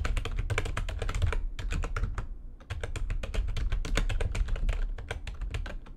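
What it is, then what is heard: Plastic computer keyboard being typed on. Fingertips and long nails type fast on a backlit plastic computer keyboard, making a dense run of quick, sharp key clicks with bright edges over a low, steady rumble. The typing pauses briefly midway, then resumes at the same rapid pace.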